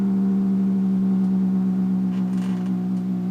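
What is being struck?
Nothing is struck.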